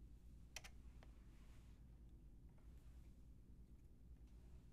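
Long painted nails and fingertips tap on a white and pink Lofree mechanical keyboard with round plastic typewriter-style keycaps and a hollow body. A quick pair of sharp, bright clicks comes early, followed by sparse, softer, irregular taps over a steady low background hum.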